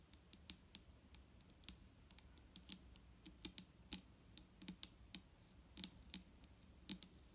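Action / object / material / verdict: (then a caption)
tap / plastic bottle full of liquid / plastic / none. A large, clear plastic micellar water bottle with a green cap, full of liquid and lying on a wooden table, is tapped with the long nails of both hands. The result is an irregular stream of quick, sharp clicks with a bright tick and a soft low thump beneath, each dying away almost at once over a quiet background.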